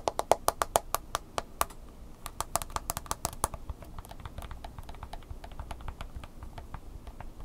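Long fingernails rapidly tap and scratch the glass touchscreen of a handheld smartphone in a mint green plastic case. Sharp, dry clicks ring out loudly and distinctly at first, then turn into a quicker, softer patter of tapping and light scratching.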